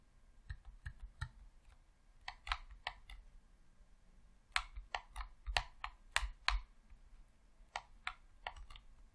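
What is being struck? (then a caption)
Plastic game controller. Fingertips press the D-pad and buttons on a hollow red plastic Xbox controller, making short, dry clicks. The clicks come in irregular bursts, bright with a faint low thump, and stop instantly without ringing, against a quiet background.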